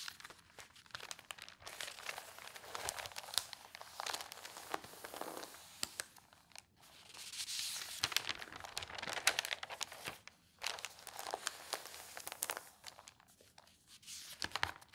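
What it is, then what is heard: Newsprint pages rustling. Fingertips and long nails lift and turn the thin newsprint pages of an open tabloid newspaper on a table and press them flat. Continuous bright, crisp rustling and crinkling comes in bursts, with short quiet gaps between page turns.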